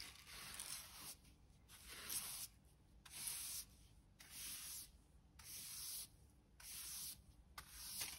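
A hand brush with stiff pale bristles and a black plastic back sweeps and rubs across a bare, mostly clean concrete floor in a small indoor room. Short, slow strokes make bright, hissy scraping bursts separated by quiet pauses.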